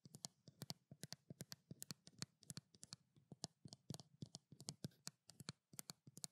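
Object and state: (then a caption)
Plastic skincare bottle. A small white plastic skincare bottle is held in both hands while long nails tap and scratch its labeled side. A quick, uneven series of sharp, dry clicks with bright, crisp highs over a soft low thump follows. Each tap dies almost instantly, with faint scratchy rustling between them.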